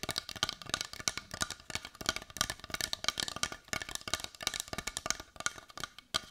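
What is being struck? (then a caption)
Carved wooden heart. Long white nails tap quickly and steadily on a solid-looking brown carved wooden heart with a rough, grainy surface. The result is a fast run of short, dry, clicky taps that are bright and woody, with almost no low end and no ring after each tap.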